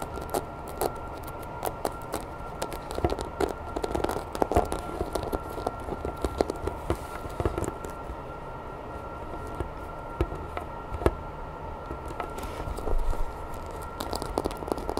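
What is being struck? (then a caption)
Vinyl toy figure. Long nails tap quickly and scratch over the dorsal spines and textured body of a grey hollow vinyl Godzilla toy figure. A dense stream of short, soft clicks and scrapes runs throughout, with a faint low body and a steady hum underneath.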